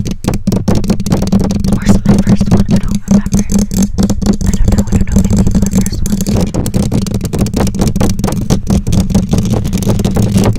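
Long nails scratch and tap the bare black metal mesh grille of a condenser microphone. A dense, rapid stream of scraping and tapping comes through as a steady, boomy low-frequency rumble with very little high end.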